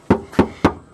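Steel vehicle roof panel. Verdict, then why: Hollow. Four knocks on a Jeep's bare steel roof panel with the headliner removed and no sound deadening added yet. Each knock is a short, hollow thud with a low-mid tone around 200 Hz and a brief ring. The panel sounds hollow because nothing sits between it and the cabin.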